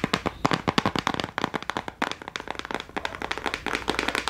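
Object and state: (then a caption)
Plastic crayon case. A small clear plastic case of gel crayons, held close, is tapped fast and aggressively with long nails. About thirty sharp, crackling clicks come in a rapid, uneven stream, each dying away almost instantly with a bright plastic snap.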